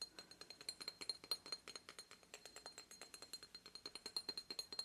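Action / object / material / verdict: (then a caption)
tap / obsidian stone statue / obsidian / none. Rapid, uneven tapping on an obsidian goddess statue makes a dense run of short, glassy clinks. The clinks are bright and high, with no low end, and die away almost at once.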